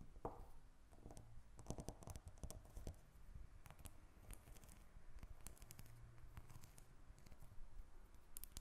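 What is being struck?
Bar of soap.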